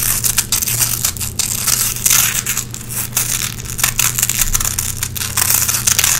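Long red-painted nails scratch across a small gray nylon velcro hook patch held between both hands, pulling lint out of the hooks. The result is a dense, continuous, bright crackling and rasping, with quick scratchy bursts over a faint low hum.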